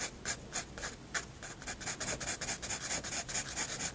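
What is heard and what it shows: A graphite pencil tip draws hatching strokes on a white paper sketchbook page. A rapid series of short, dry scratching strokes sounds bright and papery, speeding up and crowding together as the hatching goes on.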